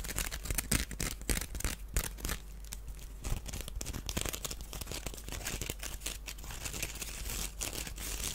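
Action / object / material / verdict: scrape / small woven wicker basket / wicker / none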